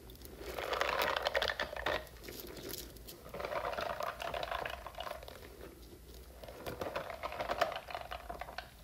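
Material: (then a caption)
Silicone. Long nails scratch and tap the spiky surface of a hand-sized, hollow blue silicone puffer toy with a fringe of strands. Dense, crinkly scratching and quick taps come in three swelling waves, with a mid-pitched rubbery tone under bright crackle. Quiet pauses fall between the waves.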